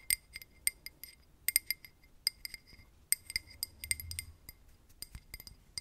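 A drinking glass is tapped with paper clips worn as nails, giving a quick series of light, bright clinks with very short ring. The taps come in irregular clusters, with a steady high tone over faint low background noise.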